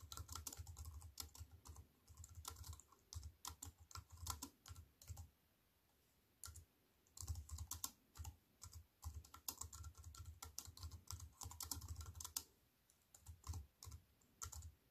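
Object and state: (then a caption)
Computer keyboard being typed on. Fingertips with long white-painted nails type on a slim wireless keyboard with a silver aluminium frame and black plastic chiclet keys, resting on a wooden table. Quick bursts of short, crisp key clicks with a soft low thump beneath and a bright tapping edge stop almost instantly, broken by brief pauses around the six-to-seven-second mark.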